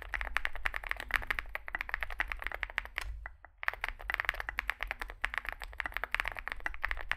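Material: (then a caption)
Plastic. Fingertips type continuously on a small Zoom65 mechanical keyboard, a 65% board with a dark case and white and grey plastic keycaps. Dense, rapid, dry clacks center around 1.4 kHz with bright edges and a steady low rumble underneath. Typing pauses briefly a little past the three-second mark before resuming at the same fast pace.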